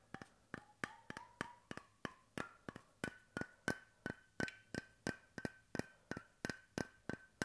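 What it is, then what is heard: Wooden bottle cap tapped with fingertips. Fingertips tap rhythmically on the flat face of a bamboo (wooden) cap on a stainless steel bottle, producing about 25 short, dry, hollow knocks. The knocks are evenly paced, and their ringing tone climbs from a mid pitch to around 1.5 kHz over the first few seconds before holding steady.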